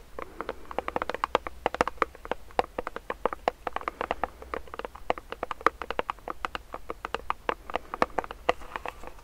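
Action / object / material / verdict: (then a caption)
tap / plastic pump bottle filled with gel / plastic / none. Fast fingernail tapping and scratching on the sides of a medium clear plastic hand sanitizer pump bottle filled with gel makes a dense run of short, dry clicks. The clicks center around 1.2 kHz with brief bright edges and no ring, over a faint steady low hum.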